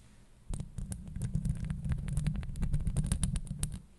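Long acrylic nails scratch and tap the metal mesh grille of a Blue Yeti microphone, producing a dense, low, rumbling scrape dotted with rapid, bright, irregular clicks. The activity starts abruptly after a quiet moment, continues for about three seconds, and then fades back to near silence.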